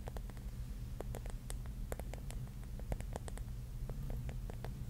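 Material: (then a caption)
Mirrored glass. Long nails tap and scratch the glass tiles on the cap of a pink mirror-mosaic mushroom held in the hands. Many quick, short clicks and scrapes spread through the clip over a steady low hum.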